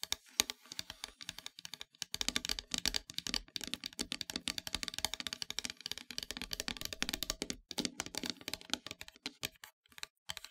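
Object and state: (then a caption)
Painted wooden heart plaque. Long metallic nails tap and scratch near the top edge of a flat, solid, dark painted wooden heart-shaped plaque. The result is a dense stream of quick, dry, bright clicks and scratchy ticks with almost no ring, broken by a few brief pauses.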